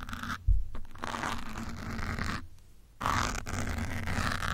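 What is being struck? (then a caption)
Foam microphone windscreen. A metal pin and fingertips scratch and rub a grey foam windscreen on a black microphone. The result is close, dull scratching and rubbing with a heavy low rumble, broken by brief near-silent pauses between bursts.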